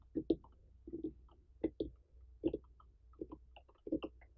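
A large, uncut orange pumpkin with a dry stem and an intact rind that has not been hollowed is tapped on its ribbed rind with the long painted fingernails and fingertips of both hands. The taps are short, dull and low-pitched, landing mostly in quick pairs at an uneven pace. Each one dies away almost at once.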